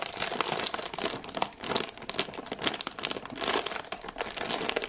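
A full package of ginger thins in printed plastic film wrap is held in both hands and scratched and squeezed with long painted nails. It makes a steady run of bright, dense crinkling and crackling with brief swells in intensity.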